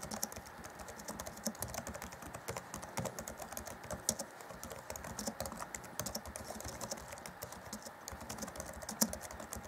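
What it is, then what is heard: Plastic laptop keyboard. Fingertips of both hands type rapidly on the black plastic chiclet keys of a grey Acer Chromebook C20 (2014) laptop keyboard deck. A steady, quiet stream of fast, crisp clicks and taps with a bright edge, each dying away almost instantly, with a few sharper keystrokes standing out.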